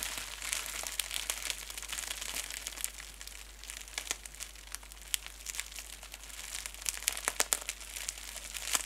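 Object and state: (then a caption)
Plastic bubble wrap crinkled. A clear plastic bubble wrap piece, held above the table, is pressed and crinkled with the fingertips and nails of both hands. A steady, dense, bright crinkle and scratch is heard, with many sharp, quick-decaying crackles and almost no low end.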